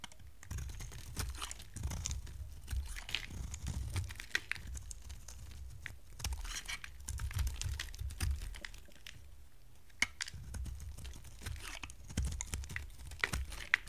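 A hand-sized, solid purple bar of dry soap with a faceted surface is held in hand and shaved and scraped with a box-cutter blade, so chips break off. Quiet, dry crunching and crinkly scraping continue throughout, with a low rumble underneath and sharp bright clicks here and there.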